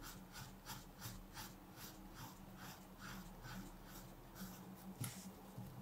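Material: Nothing is struck.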